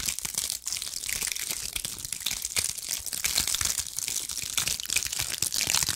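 Long acrylic nails scratch and squeeze a cluster of small, dry pine cones, making a dense, continuous crackle of crisp, bright clicks and crunches. The sound is almost all high-pitched, with very little low end, and each tiny snap dies away quickly.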